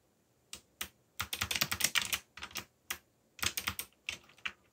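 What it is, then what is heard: Plastic mechanical keyboard. Fingertips type rapidly on a backlit mechanical computer keyboard with plastic keycaps. Bursts of sharp, bright clicks and clacks come in uneven runs with short pauses between them, each keystroke dying away almost instantly.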